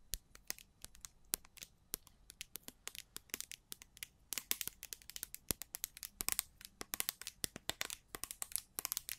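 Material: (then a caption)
Plastic. A small square orange-red plastic slime jar with a gold label and a dark lid, its contents looking filled, is held in both hands in front of the mics and scratched and tapped with long pointed black-to-silver nails. Dozens of quick, crisp, bright clicks and scratchy ticks come in an irregular rapid stream. They are quiet overall and die away almost instantly, with little low-end body.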